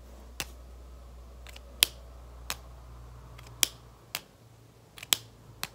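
Long red-painted nails tap and scratch along the barrel of a small, hollow, capped plastic dual-tip marker held up in both hands. About seven short, bright, dry clicks sound at irregular intervals, with almost no ring. A faint low hum underneath drops away about halfway through.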